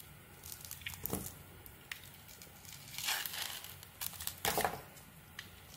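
A metal blade carves and scrapes slices and flakes from a solid white bar of soap with a pink glitter coating, held in hand. Soft, bright crinkling scrapes come in uneven strokes, with a few louder crunchy cuts standing out near the middle and end.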